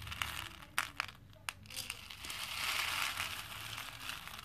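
Fingers dig into a pink plastic bowl full of small cream plastic faux pearl beads and scoop up a handful, making the beads clink together. A few sharp, bright clicks come first, then the beads build into a denser, steadier rattling crackle that stays mostly in the high range.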